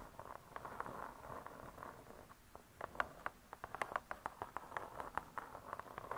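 Long nails tap on the cardboard cover of a spiral-bound hardcover cookbook. A soft, scratchy rustle gives way to a run of quick, light, dry taps centered in the midrange, with brief bright clicks. The taps stop short and leave no ring.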